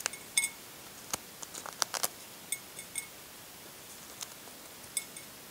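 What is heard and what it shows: Fingernails peel fragments of cracked shell off a brown hard-boiled egg, making about twelve short, bright flaking and scratching clicks. Each one snaps off almost instantly, with quiet gaps between them.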